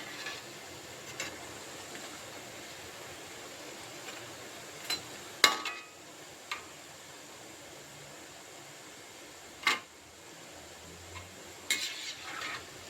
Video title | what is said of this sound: నోట్లో వేసుకుంటే కరిగిపోయే మురుకులు చేగోడీలు ప్రతి ఒక్కరికి ఈజీగా తయారు చేసుకునే స్నాక్ ఐటమ్ | మనకు వేగిందా లేదా అని ఇలా కొడితే సౌండ్ వస్తుంది. సౌండ్ వచ్చినప్పుడు మనకి వేగిందని తెలుస్తుంది.